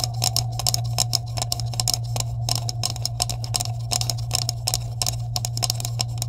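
Long nails rapidly tap and scratch the cap edges of a green hollow plastic tube with caps, held at both ends. The result is a dense run of short, bright clicks with quick decay and scratchy texture, over a steady low hum.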